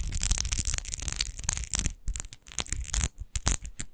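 Long nails scratch fast across the raised rose-relief pattern of a large, hollow, textured glass wine bottle with a rose-shaped base. The sound is a dense stream of bright, crackly scrapes over a low hollow rumble, breaking into shorter separate bursts with brief pauses in the second half.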